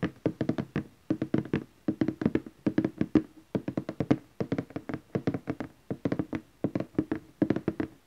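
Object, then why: Glossy cardboard box lid. Fingertips and nails of both hands tap across the lid of a large, glossy orange cardboard gift box. Quick, dry taps come in rapid clusters with brief pauses between them, each with a soft, hollow thump around 300 Hz and a light click on top. The taps die away almost instantly.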